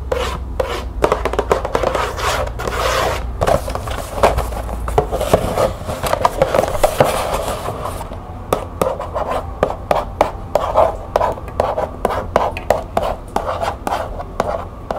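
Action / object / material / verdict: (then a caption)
scrape / cardboard tea box / cardboard / none. Long nails scratch and rub the printed sides of a small, closed green cardboard tea box with tea bags inside. A steady papery rasp carries a hollow midrange tone around 530 Hz, broken by quick, sharp clicks throughout. The strokes grow sparser and more distinct toward the end.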